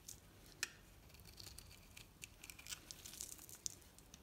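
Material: Soap.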